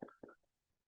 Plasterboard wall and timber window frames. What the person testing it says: when I tap the wall I can hear the windows rattling in their frames